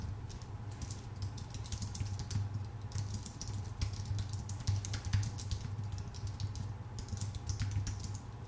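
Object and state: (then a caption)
Aluminium and plastic keyboard being typed on. A full-size white Apple Magic Keyboard with a numpad, a thin aluminium base and plastic keycaps, rests on a dark desk and is typed on steadily with the fingertips of both hands. Quick, light key taps form a continuous stream of bright clicks over a steady low hum near 100 Hz.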